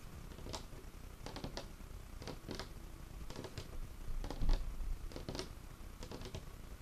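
Fingertips and nails scratch and tap across a large, solid, dark-stained wooden tabletop. Soft, irregular bursts of bright, dry clicking and scraping come in quick clusters over a quiet, low rumbling background, each tap dying away almost at once.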